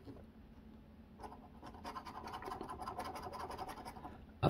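A copper coin scrapes the latex coating off a flat cardboard scratch-off lottery ticket held by the fingertips on a wooden table. After a quiet start, quick, rhythmic, raspy scratching strokes build from about 1.2 seconds. The clip ends in a short, sharp knock.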